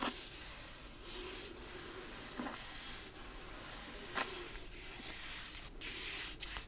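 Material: Cardboard.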